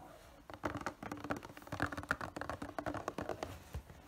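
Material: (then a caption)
Cardboard. A hollow, printed cardboard figure box is gripped in both hands while fingers tap and scratch its panels. After a brief quiet start, about twenty quick, dry, muffled taps mix with soft scratching. The taps have a papery, hollow knock that dies away at once.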